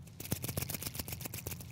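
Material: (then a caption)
Metal. A cheap Chinese-made fake Seiko wristwatch is shaken by hand, producing a rapid series of sharp, high-pitched rattling clicks over a low background hum. The loose rattle points to a cheap, poorly built watch.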